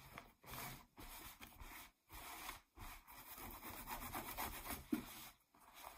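Long nails scratch across a pair of distressed, ripped blue denim jeans lying flat. The sound is a soft, dry rasping in repeated strokes separated by brief pauses, with a coarse fabric texture that extends into the high range.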